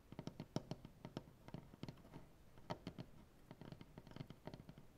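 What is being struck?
Maple butcher block tabletop.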